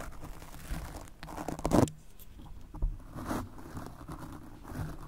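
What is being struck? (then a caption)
Foam microphone windscreen scrubbed with a stiff brush. A golf club cleaner brush with stiff bristles is scrubbed across a soft, porous black foam microphone windscreen in a brushing, scratching motion. It makes close, muffled, crackly rustling and scratching strokes, heavy in the low end, with the loudest burst near the two-second mark and a sharp scrape shortly after.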